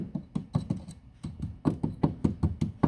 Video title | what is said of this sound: Toyota Auris SR180 Sill Repair MOT Welding | Sounds all tender on here